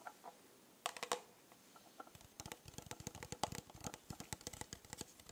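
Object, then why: Rhinestone-covered plastic tumbler. Long nails scratch and tap across the rhinestones on a rhinestone-covered plastic tumbler held close to the microphone. A few sharp, bright clicks come first, then a quick, dense run of tiny ticking taps with very short decay. The result is a quiet, crisp patter.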